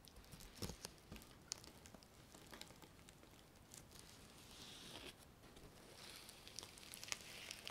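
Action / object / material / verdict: scrape / reversible sequin fabric / plastic sequins / none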